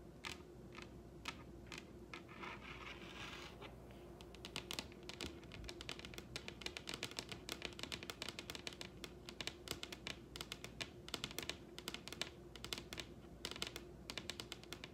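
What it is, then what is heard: Wooden table top. Long red nails on both hands tap across a large, solid wooden tabletop, producing sharp, bright clicks with no ring. The taps start sparse, with a soft brushing scrape partway through, then quicken into a busy, irregular patter over a faint steady hum.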